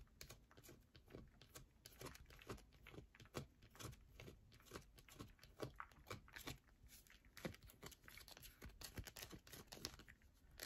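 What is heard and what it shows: Long nails scratch and tap quickly on a solid yellow bar of soap held in the hand. The result is a dense run of soft, dry, crackling scrapes and short clicks with bright edges, sounding close and quiet.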